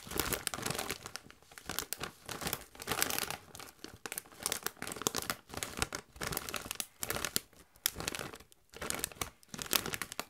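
A Doritos chip bag of metallized plastic, partly full of chips, is crinkled and scratched with long white nails. Bright, dense crackling comes in bursts separated by brief quiet gaps, with little low end.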